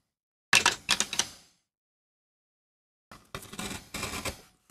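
A steel gouge scrapes and cuts grooves into a small, flat, solid MDF relief printing block, with chips piling up beside the block. Two bursts of short, bright, dry scraping strokes are separated by a pause of silence, and each stroke stops quickly with almost no ring.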